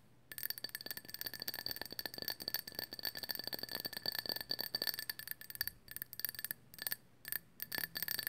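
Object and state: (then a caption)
Glazed ceramic owl figurine. Long nails tap the glossy body of a small, hollow, glazed ceramic owl figurine in pale orange with white dots, held in both hands. The rapid taps give bright, ringing clinks with a high, steady tone and short decay. They come in dense runs broken by brief pauses.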